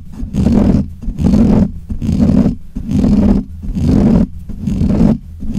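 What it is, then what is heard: Metal mesh microphone grille being scratched. Fingernails of both hands scratch the black, hollow metal mesh grille of a desk microphone. Six steady bursts of boomy scratching rumble through the mic, with a low, roar-like hum centered around 200 Hz. Each burst fades between strokes.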